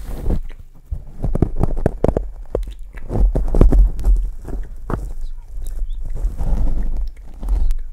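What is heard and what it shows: A hand rubs and scrubs the top of a large black Blue Yeti USB microphone's hollow steel wire-mesh grille with a kitchen sponge that has a green abrasive scouring side and yellow-orange foam. The result is a busy series of deep, muffled scratches and thumps with short crackly clicks, mostly low and boomy with little brightness.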